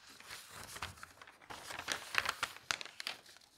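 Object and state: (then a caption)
Newspaper page being turned. Fingertips lift and turn a page of an open newsprint newspaper, then flatten it down. Soft, bright paper crinkling and rustling build into a few sharper crackles near the middle, then settle back to quiet rustles.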